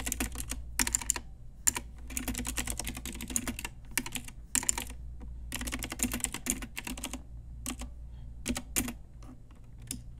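Long nails and fingertips type on a pink Ajazz retro typewriter-style mechanical keyboard with round plastic keycaps. Rapid bursts of bright, sharp plastic clicks come in quick runs separated by short pauses, over a steady low hum.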